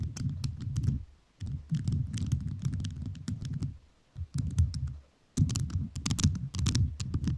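Fingertips with rhinestone-covered nails tap on a microphone fully covered in rhinestones. The result is quick, crisp clicky taps over a low, dull thump, in bursts separated by short pauses near 1.2, 4 and 5.2 seconds.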